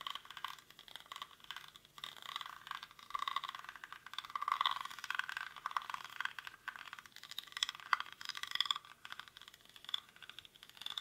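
Fingernails scratch quickly across the weave of a hollow, cylindrical woven rattan/reed basket held in both hands. The result is a dense, dry, crackling scratch with a rattly texture, centered in the mids around 1 kHz with bright upper detail and almost no low end. The loudness rises and falls in rapid bursts throughout.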